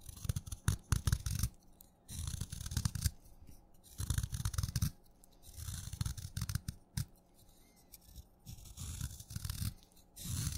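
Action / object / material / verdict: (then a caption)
scrape / wet chalk stick / chalk / none. A craft knife blade scrapes along a solid wet purple chalk stick, shaving curls from its surface. The result is bursts of dry, gritty scraping with low thuds and bright rasping edges, separated by brief quiet pauses.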